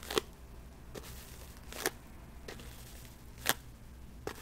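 Long metallic false nails tap and scratch a small, hollow white cardboard box. Four sharp, dry clicks stand out, with fainter scratches in between. The taps have almost no ring and sit over a low, steady background hum.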